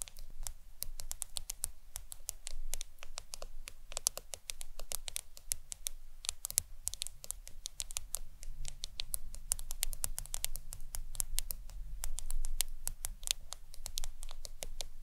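Long nails tap rapidly on the glass screen of a black smartphone lying face up. The result is a fast, irregular stream of sharp, bright clicks that die away almost instantly, over a steady low background hum.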